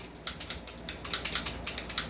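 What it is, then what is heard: Loose outer barrel on an airsoft rifle. A stock, non-upgraded airsoft rifle, as it arrives in the Philippines, is shaken so its loose outer barrel rattles. A quick series of bright, clicky metallic rattles with short decays comes over a quiet background. The loose barrel is the fault, and it moves and clatters with each shake.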